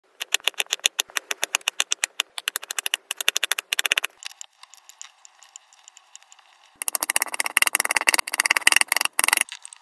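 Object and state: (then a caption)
Kinetic sand block. A small solid slab of yellow and red kinetic sand on a white surface is sliced, pressed and scraped with a metal spatula or knife held in the fingers, and mixed into an orange mass. Quick, crisp, bright taps and crunchy clicks with no low end give way to a few seconds of softer scraping. Then a dense, rapid burst of sharp tapping follows before it fades.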